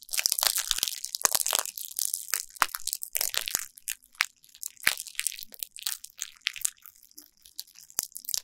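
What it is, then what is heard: Plastic bubble wrap. A derma roller, held in a hand with long nails, is rolled back and forth over a flat sheet of clear plastic bubble wrap, crushing and crinkling the bubbles. Dense, bright, crunchy crackling fills the first few seconds, then thins into scattered sharp snaps and soft crinkles with quiet gaps between them.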